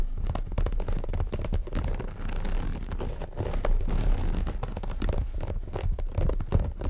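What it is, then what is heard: Woven fabric shoulder bag scratched. Long nails scratch the woven surface of a black and cream monogram jacquard fabric shoulder bag. The result is a steady run of quick, dense, raspy scratching strokes with a dull, low-weighted texture, at an even level throughout.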